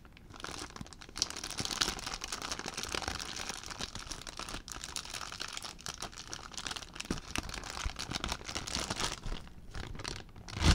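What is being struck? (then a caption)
Thin plastic zip bag. An empty clear plastic zip bag is crumpled and crinkled by hand. It makes a steady, dense crackle with bright, crisp crinkles over a soft low rustle. A louder crunch comes at the very end.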